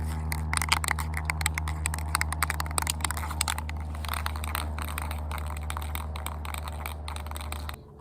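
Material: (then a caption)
Metal. A can of metallic Rust-Oleum spray paint is shaken to mix it before spray painting a wooden sword blade. Quick, uneven metallic rattles run over a steady low hum for about eight seconds, then the rattling stops just before the end.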